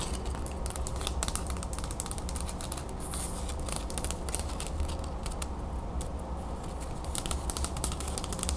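Long acrylic nails tap and scratch rapidly along the edge and face of a closed wooden folding fan, a solid stack of carved slats about 20 cm long. Quick, dry clicks and brief bright scratches flicker over a steady low rumble, keeping an even level throughout.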